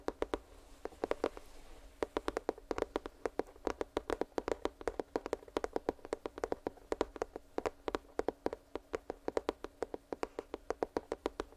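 Fingertips tap rapidly and lightly on a cardboard headphone retail box, producing a steady stream of dozens of short, dry, hollow knocks. Each tap dies away almost instantly, with a mid-pitched, papery tone and little low end. There is no speech.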